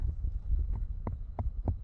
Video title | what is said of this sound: DIY Kiln Made From Sand and Powered By Wood - Full Build | you can almost hear it hollow where I'm tapping at. That's how I know I'm really close to the edge here.